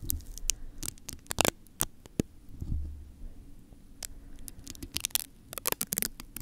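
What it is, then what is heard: Metal mesh microphone grille. Fingertips and nails lightly scratch and tap a hollow metal mesh microphone grille, producing scattered sharp, crisp clicks and scraping rustles that stop almost instantly. A low, steady hum runs underneath throughout.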